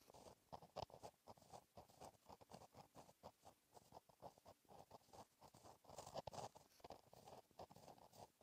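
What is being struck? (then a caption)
Gel pen on a paper notebook page. A gel pen held in the fingertips writes continuous cursive strokes on a flat, black, lined notebook page. The result is a quiet, rapid, irregular scratching and pattering, with short dry strokes that carry a midrange rasp and a faint bright hiss.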